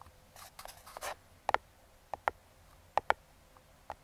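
Metal claw fingertip picks tap and scratch the top of a small, closed, brown kraft cardboard box held in the hand, around the logo. Soft, papery scratching in the first second gives way to eight sharp, dry taps centered near 850 Hz. Each tap stops almost instantly, with no ring, against a quiet background.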